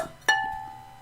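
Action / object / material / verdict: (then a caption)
tap / semi-porcelain ceramic piece / semi-porcelain / sound. A Booths Royal semi-porcelain piece in the "Princess" pattern is tapped once for a ping test. It gives a clear, bright ping with steady tones that ring on and slowly fade, which shows the piece is not cracked.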